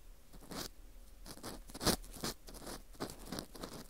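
An orange plastic earpick scrapes downward inside the center hole of a dry, porous dried wheat gluten fu ring slice. It makes a run of soft, dry, crackly scratching strokes with a bright, airy hiss. One stroke midway is noticeably louder and crunchier than the rest.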